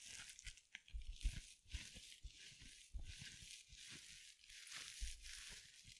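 A small, soft scrub sponge wrapped in sparkly synthetic glitter mesh is crushed and scratched with long nails just above the mic. The result is a steady, bright crinkling and scratching hiss over soft, low thumps from the squeezing. Some louder crunches stand out from the texture.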